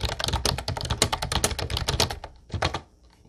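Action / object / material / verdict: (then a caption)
tap / plastic typewriter-style keyboard with round keycaps / plastic / none. Both hands type with their fingertips on a mint-blue plastic Ubotie retro typewriter-style keyboard with round white keycaps. Its bright, clacky keystrokes, each with a low thump, come in a rapid, dense run for about two seconds. After a brief pause there is one more short burst of keys, then quiet.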